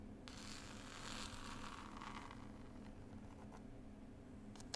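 Long pointed nails scratch and tap a hardback book with a textured cloth cover and a pasted picture label. A bright, rasping scratch fills the first two seconds before thinning into sparse, light taps, all over a steady low hum. It ends with a sharp click.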